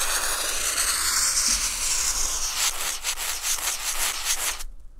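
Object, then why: Felt-tip marker on textured drawing paper. A felt-tip marker tip is rubbed and dragged across a flat sheet of white textured drawing paper, drawing blue lines. A steady, bright scratchy hiss with a broad high sheen fills the first half. Then rhythmic back-and-forth strokes pulse before the sound cuts off abruptly near the end.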